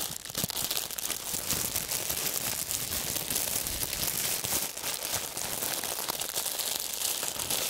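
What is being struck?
Clear plastic film.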